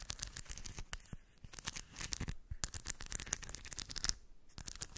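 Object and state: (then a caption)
Steel ball bearings scratched in a cork dish. Long white nails scratch across shiny steel ball bearings packed in a small round cork dish while the other hand holds the rim. The result is a dense, bright rattle of rapid metallic clicks and scrapes, with brief quieter pauses near 1.3 and 4.3 seconds.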